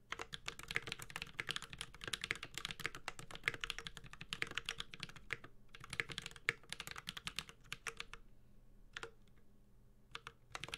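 Steady typing with the fingertips of both hands on a Space65 Cybervoyager 65% mechanical keyboard with a white-gold aluminum case, carbon fiber plate, plastic keycaps and tactile Holy Panda switches. It produces rapid, bright, clacky keystrokes with short, crisp decays. After about 8 seconds the typing thins to a few scattered keystrokes, then picks up again briefly at the end.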